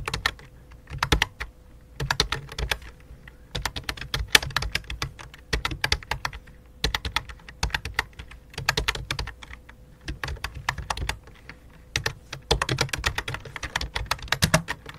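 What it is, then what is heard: Plastic computer keyboard. Fingertips type on a full-size white and light-blue plastic computer keyboard with a hollow plastic body. Quick bursts of short, bright, clicky key taps come and go with brief pauses between them, each tap dying away almost instantly. A faint steady tone sits underneath throughout.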